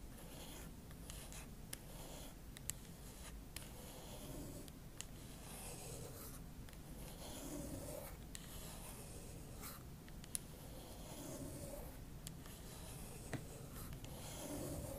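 Long acrylic nail tips scratch and rub across the silver aluminum palm rest and trackpad area of a MacBook Pro, beside the keyboard. The result is a quiet, continuous scratchy rasp with a low rumbling bed and bright hiss, broken by brief sharp ticks and a couple of louder clicks.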